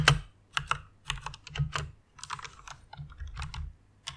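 Long painted nails and fingertips type and tap on a full-size white Ducky One mechanical keyboard with plastic keycaps and Cherry MX red switches, lit pink and resting on a fluffy pink pad. Quick, short clacks come in uneven bursts, each with a bright click over a low thump, and they stop quickly with almost no ring.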